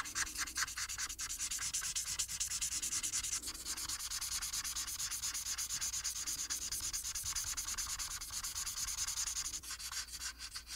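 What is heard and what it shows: A felt-tip marker is rubbed in rapid coloring strokes across a flat paper coloring sheet on a table. It makes a steady, bright, scratchy swish that pulses with each quick back-and-forth stroke and has almost no low end. The rubbing continues evenly for the whole clip.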